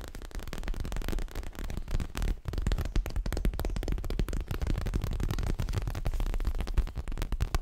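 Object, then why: Leather-covered stuffed cushion. Long fingernails on both hands tap and scratch quickly across a soft, stuffed, dark grey leather-covered cushion. The result is a dense stream of short, dull, low thuds with a light scratchy texture, fast enough that the hits blur together.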